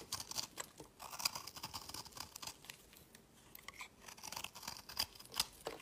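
A metal blade scrapes crumbly shavings off a solid oval green-blue marbled soap bar held in the fingers. Quiet, dry, crisp scraping and crunching comes in a rapid series of short strokes, with bright, airy detail and little low end.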